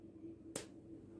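A home-canned pickled cucumber made with lemon is snapped in two by hand, giving a single sharp crunch against a quiet background. The crunch shows the pickle is firm and crisp, which is credited to the lemon, and the inside has no hollow.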